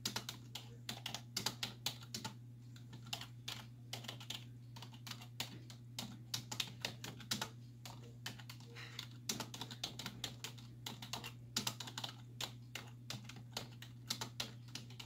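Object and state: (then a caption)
Plastic computer keyboard. Long nails and fingertips tap rapidly on the hollow keys of a black plastic computer keyboard resting on a wooden desk. Bright, sharp clicks come in quick, uneven bursts with very short decay. A steady low hum runs underneath throughout.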